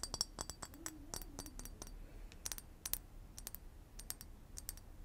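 Long acrylic nails tap and click on the round, textured body of a hollow, clear glass liquor bottle with a wooden-topped cork, held in hand. An irregular series of sharp, bright clicks rises over a faint low hum, each one dying away almost instantly with only a brief high glassy tick.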